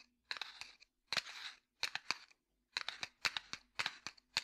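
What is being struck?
Small cardboard matchbox.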